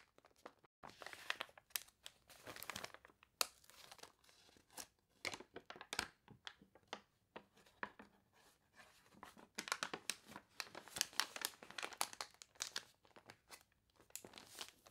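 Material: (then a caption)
Glossy paper. Long nails scratch and rub the crinkled, wavy pages of a water-warped glossy paper toy catalog and lift the pages, filmed close up. Dry, crisp crinkling and crunchy rustling come in quick bursts, mostly bright and high with almost no low end, separated by brief quiet gaps.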